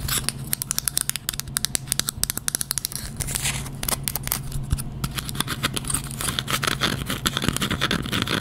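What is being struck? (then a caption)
Bamboo item. Close-up fast tapping and scratching on a bamboo item, which gives a fairly loud sound. Rapid, sharp, dry clicks with almost no ring ride over a steady low hum near 160 Hz, in dense bursts for about eight seconds.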